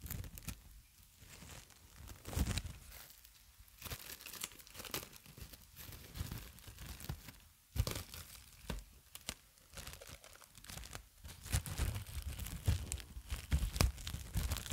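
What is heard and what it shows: Clear plastic cling film is pulled off its long roll, and the loose sheet is stretched and crinkled by fingertips and long nails right next to the microphone. Irregular bursts of sharp, tearing crackles and crinkles with bright edges sit over soft, low rumbling handling noise. There are short quiet gaps between bursts, and the activity grows denser and louder toward the end.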